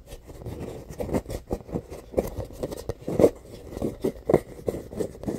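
Fingernails scratch and rub quickly over a hollow, inflated rainbow rubber playground ball with a valve and an embossed surface. The result is a run of irregular, short, dry scraping strokes with a hollow mid-range tone, some swelling into louder rubbing bursts.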